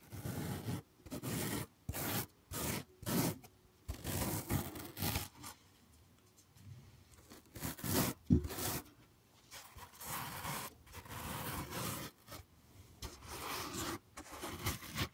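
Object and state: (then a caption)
Floral foam block being scratched. Fingers scratch a solid, dented green floral foam block held in the other hand close to the mic. The result is a series of short, dry, crunchy scratching bursts with brief pauses between them, carrying a low body and broad, bright rasp. Some bursts run longer and softer than the sharp strokes.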